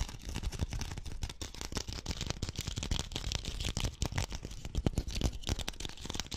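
A small hollow pink woven rattan (wicker) ball held between the fingers is rapidly scratched and tapped with fingernails. The result is a dense, continuous stream of short dry clicks and crackly scratches with a low thumpy body and a bright hiss on top, and each tap dies away almost instantly.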